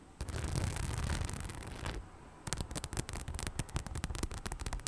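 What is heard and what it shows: Long nails scratch close to the mic on the rhinestone front of a hollow, beige faux leather bag, making a dense, continuous rasping for about two seconds. After a brief quieter pause, the scratching becomes a rapid series of sharp clicky strokes. The sound is close and full with a strong low-end thump.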